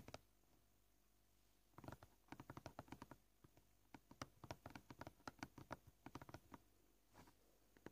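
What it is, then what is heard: Plastic cutting board. Short purple-painted nails tap fast on a solid white plastic cutting board. The taps come in quick, uneven bursts of short, dry clicks with brief quiet pauses between them. The clicks die away almost at once, leaving a soft, low background hum.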